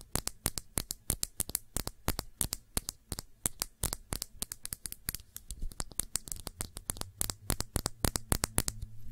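Long nails tap rapidly around the shoulder and cap area of a small glass perfume bottle with blue liquid and a silver neck. Dozens of quick, sharp, bright clicks die away almost instantly over a faint low hum.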